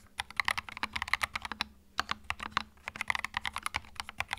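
Fingertips type on a small white 65% mechanical keyboard with plastic keycaps and a hollow plastic case, resting on a felt mat. About 26 quick, bright, clacky keystrokes sound in uneven bursts, each dying away almost instantly. There is a short pause near the middle before typing resumes.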